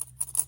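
Three light taps on the plastic base of a Hot Wheels shopping-cart diecast toy, done to tell its material, give short, bright ticks with almost no ring. The base is plastic; it sounds slightly metallic only because it sits directly on the toy's metal body.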